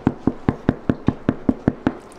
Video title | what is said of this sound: So einfach Backst du ein leckeres und bekömmliches Brot - Roggenmischbrot ohne Sauerteig | if it sounds like a wooden door or a hollow door